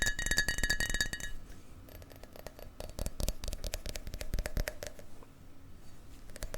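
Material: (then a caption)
Glass. A small glass shot glass is tapped repeatedly in quick, uneven succession. It opens with a burst of bright, ringing glassy clinks pitched around 1.7 kHz, then continues as softer, drier ticks and clinks that ring only briefly.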